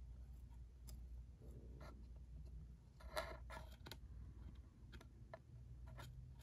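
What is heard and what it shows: A small, hollow, cube-shaped red and white cardboard ink cartridge box is tapped with a single fingertip and nail on its side and corner. Soft, dry clicks and taps with a faint papery knock around 650 Hz come at an uneven pace and die away almost at once. They sit over a steady low hum that makes up most of the quiet sound.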